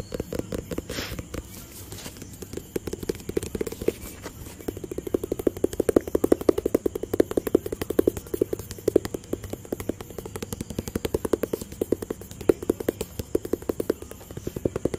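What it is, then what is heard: Empty cardboard box. A small white and blue printed cardboard product box, hollow and apparently empty, is held in one hand and tapped with the fingertips of the other hand close to the microphone. Rapid, dry, hollow taps with a mellow midrange body stop almost instantly and run steadily through the clip, growing louder in the second half over a faint steady high hiss.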